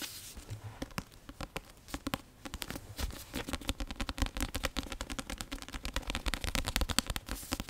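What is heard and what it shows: A solid card-covered paperback of *Prisoner of Azkaban* is scratched and tapped with long nails. The result is a rapid, irregular stream of short, dry clicks and taps over soft scratching, with bright crackly edges and a low thump in each tap that builds louder toward the end.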